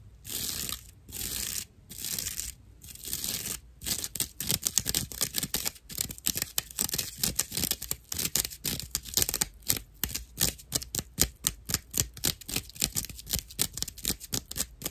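A slice of dried natural loofah sponge, held low, is scratched with long acrylic nails, producing rough, dry, bright scratching and crackling. A few slow, separate strokes open the clip, then give way to quick, rhythmic bursts of raspy scraping that continue to the end.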